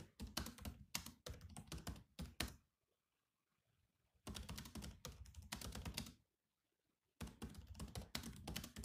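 Fingertips of both hands type fast on a grey laptop keyboard with black plastic keys. Rapid, clicky taps with low thuds come in three bursts separated by short quiet pauses.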